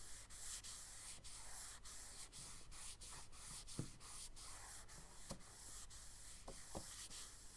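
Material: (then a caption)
Paper. Charcoal is drawn across a tan kraft paper sketchbook page in long sweeping strokes with the stick held flat, and the paper is rubbed and smudged with the side of the hand. A steady dry, papery scraping and rubbing hiss runs throughout, broken by short sharp strokes with a bright, airy top.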